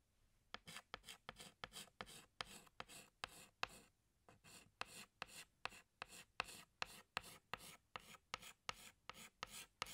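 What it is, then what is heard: Chalk rubbing on a blackboard. A pink chalk stick rubs back and forth on a flat black chalkboard, thickening the outlines of a drawing. About 26 short, scratchy strokes come in a steady rhythm with a brief pause near the middle. Each stroke is a dry, bright rasp with almost no low end.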